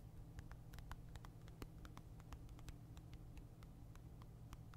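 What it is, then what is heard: Game console tapped with fingernails. A Nintendo Switch console with a glass screen is held in one hand while fingernails tap and scratch its glossy screen and plastic edge. Quick, dry clicks and light scrapes with bright, short ticks patter irregularly throughout. A steady low hum runs underneath the whole time.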